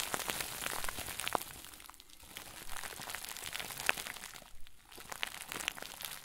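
A round white plastic bag stuffed into a crinkle ball is held close and crumpled by the fingertips of both hands. It makes dense, bright crinkling with sharp crackles throughout, easing briefly to quieter rustling around the 2- and 4.7-second marks.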